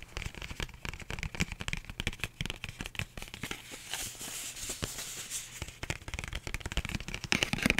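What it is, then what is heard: Paper envelope. A flat, empty pink paper envelope is held in both hands and tapped and scratched with long manicured nails. Quick, dry, bright clicks and crinkly taps come in dense bursts, with a steadier papery scratching hiss through the middle before the rapid tapping returns.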